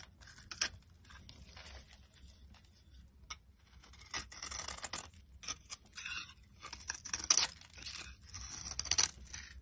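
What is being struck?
Bar of soap.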